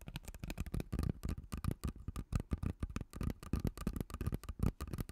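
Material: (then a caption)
Plastic. Fingertips and nails scratch and squeeze a hollow, purple ribbed plastic pop tube. The result is a dense, quick run of soft, dull taps and scratchy clicks. Each one is mostly low in tone and dies away almost at once.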